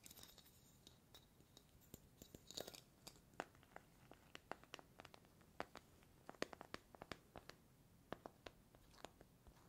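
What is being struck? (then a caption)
Small metal tea tin. Fingertips and nails tap and scratch the lid and sides of a small, hollow, cylindrical metal tea tin with a gold lid and a paper label. The result is a quiet, irregular series of short, dry, crisp taps, mixed with bright scratching and crinkly rustles. Each tap dies away immediately without ringing.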